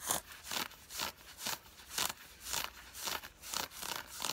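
Long fingernails scratch the thigh fabric of worn grey cotton fleece sweatpants with a side stripe. Nine evenly spaced, bright, rasping scratches sweep across the fabric at a steady pace. Each is a dry, hissy stroke with almost no low end, fading quickly between strokes.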